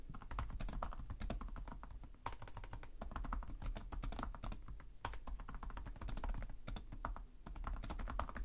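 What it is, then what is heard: Plastic laptop keyboard. Fingertips of both hands type continuously on the plastic chiclet keys of a black laptop keyboard. The result is a steady, rapid stream of short, dry key taps with a dull, low-weighted body, each click dying away almost instantly, with a few brief pauses between bursts.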